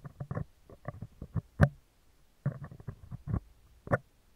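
Metal tweezers scratch and tap the left side of a round, hollow steel wire-mesh microphone grille. Close, muffled, low scraping and rustling bursts are heard, broken by a short near-silent pause. Two sharper, brighter taps stand out above the scratching.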